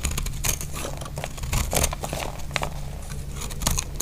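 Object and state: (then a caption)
Dry soap bar being cut. A utility blade carves shavings off a solid, dry purple (lilac) soap bar, giving a run of crisp, bright scraping and crackling cuts. The cuts sound dry and brittle, with a low steady hum underneath.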